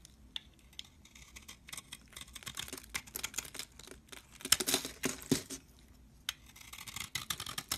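A metal blade shaves thin flakes from a solid cream soap bar, making quiet, bright, crisp scraping and crackling sounds in short bursts. The scrapes grow louder and denser around the middle, pause briefly, then pick up again with a few sharper snaps near the end.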